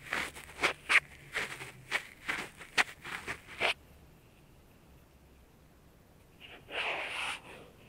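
A cotton ball held in tweezers by a latex-gloved hand is rubbed and scraped around the outer ear and ear canal entrance of a life-size soft silicone ear on a binaural dummy-head microphone. A quick series of short, bright, scratchy rubs is followed by a near-silent pause. One longer, softer scraping stroke then closes the clip.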